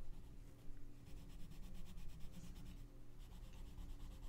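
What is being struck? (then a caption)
Colored pencil on a paper coloring book page. A gloved hand rubs a pink colored pencil in repeated strokes across the paper page of an open coloring book lying flat. Quiet, dry scratching comes in a steady back-and-forth rhythm with a bright, papery hiss, over a constant low hum.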